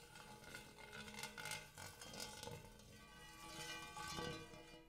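A big metal bowl is tapped repeatedly, giving bright, ringing metallic tones that overlap and hum with a clear pitch. Each tap rings briefly, so the clip sounds like a layered, shimmering chime.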